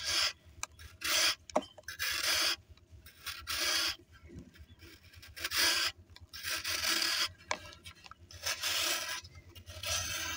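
A small knife blade shaves a hand-sized solid block of pressed dry sand held over a blue plastic basin, and loose sand pours off in streams. Bright, gritty rasping scrapes come in irregular bursts, separated by quieter trickling and crumbling.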